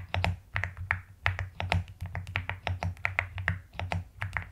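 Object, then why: Plastic mechanical keyboard keys. Long nails tap and type with both hands on the plastic keycaps of a pastel mechanical keyboard. Brisk, irregular clicks come with a soft low thud under each keystroke and short bright ticks, with little ring between strokes.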